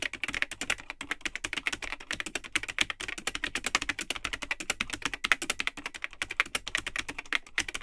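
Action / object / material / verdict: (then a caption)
tap / plastic computer keyboard / plastic / none. Fingertips type continuously on the built-in keyboard of a vintage Tandy 1000 HX all-in-one computer, which has a cream plastic case and hollow, yellowed plastic keycaps. It makes a rapid, steady stream of short, bright plastic clacks centered around 2 kHz, with almost no low end. Each keystroke cuts off almost instantly.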